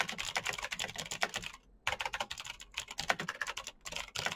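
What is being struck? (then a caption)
Plastic mechanical keyboard. Fingertips of both hands type fast on the keycaps of a black plastic full-size Razer BlackWidow mechanical keyboard with clicky green switches, RGB backlight and a hollow case, resting on a desk mat. A rapid stream of sharp, bright clicks with very short decay and little low end, broken by a brief pause just before the two-second mark.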